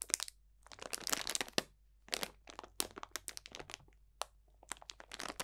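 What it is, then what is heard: Bag of dried potpourri being crunched. A clear cellophane bag full of dried potpourri, orange slices and leaves, is pressed and crunched with the fingertips of both hands. It gives bursts of crisp, bright crackling and crinkling, separated by brief silent pauses. Each crackle is sharp and dry, with almost no low end and no ring.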